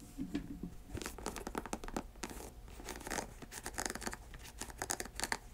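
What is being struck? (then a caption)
Leather sneaker upper and laces. An empty white leather sneaker held in a lap is scratched along its upper, laces and side panels with long acrylic nails. The result is a dense run of quick, dry rasping strokes with bright, papery edges over a faint steady low hum.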